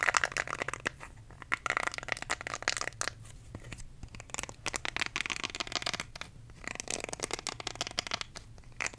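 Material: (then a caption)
Silicone. Fingertips and nails scratch and rub the nubbed bristle side of a small, round, pink silicone facial cleansing brush held close to the microphone. The result is a dense run of bright, crackly scratching with quick clicky bursts that rise and fall over a faint low hum.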